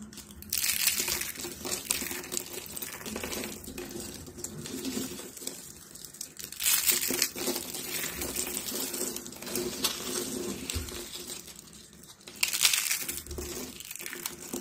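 Thin, brittle stacks of dried pink soap sheets are crushed and crumbled in fists with long blue nails over a pile of pink flakes. Dense, bright crackling and crunching come in continuous bursts, swelling louder around the middle and near the end.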